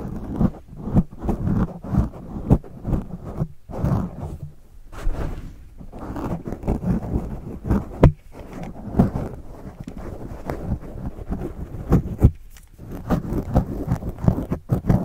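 A pen tip scratches the top of a black foam windscreen on a microphone held in one hand. The result is a close, muffled run of scratching and rustling strokes with dull low thumps, fast in some stretches and slower in others, heavy in the low end with almost nothing bright.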